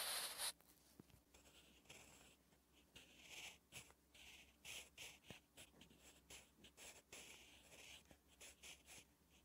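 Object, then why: Graphite pencil on thin lined notebook paper. A sharpened wooden graphite pencil is drawn across a thin, flat, lined page of a spiral notebook, writing Korean letters. Quiet, bright scratching strokes come in irregular bursts after a louder opening rustle, with the energy concentrated in the high range.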